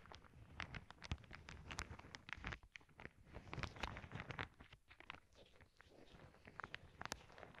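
Long nails poke, tap and scratch the surface of a clear plastic zip bag full of small clear beads. The result is a quiet, close run of quick crinkly taps and scratchy rustles, with bright clicks over soft low thumps as the beads shift inside.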